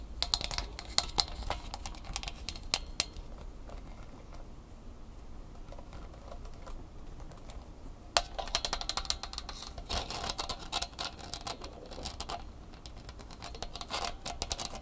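A small red plastic phone holder with bendable ball-jointed plastic legs is held in the hands and tapped and clicked with the fingernails. Rapid, sharp, bright clicks come in dense bursts, ease into softer, sparser tapping in the middle, then pick up fast again toward the end.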